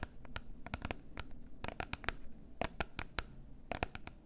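Long nails tap and scratch a small, closed, rectangular gold cardboard box of face masks held in both hands. Sharp, bright, short clicks land irregularly over soft scratching and a low background rumble.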